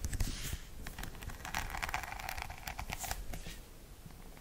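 Long nails tap and scratch across the rhinestone-studded back and the bristle side of a hollow plastic paddle hairbrush held close to the microphone. Dense, crackling clicks and scratchy rustles run throughout, with bright glints from the rhinestones over a low, hollow thump from the plastic body. The sound stays steady and quiet, easing slightly toward the end.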